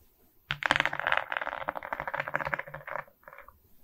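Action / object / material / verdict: scrape / diamond painting of small resin beads on a board / resin / none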